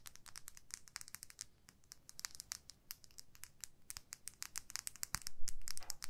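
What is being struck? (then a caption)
Small plastic lip gloss tube. Long nails scratch and tap along a small clear plastic lip gloss tube filled with pink gloss, held horizontally. A quiet, rapid, irregular stream of short, bright, crisp ticks and scratchy crinkles sounds over a faint low background hum, growing slightly louder toward the end.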